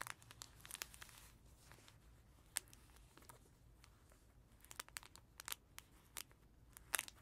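Fingertips and nails scratch and trace across the crinkly fabric pages of a small cloth tiger baby book lying flat on a carpet. Soft, bright crinkling and rustling is broken by scattered sharp, short crackles that cluster near the start and toward the end. The overall sound stays quiet.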